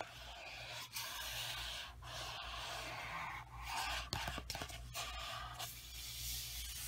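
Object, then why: Paperback coloring book paper cover. A large paperback coloring book held upright has its paper cover rubbed and brushed with the flat palm and fingertips, a ring on one finger. The result is a steady, bright, airy rubbing and swishing hiss over a faint low hum, broken by brief pauses and a cluster of short, sharp scratchy clicks partway through.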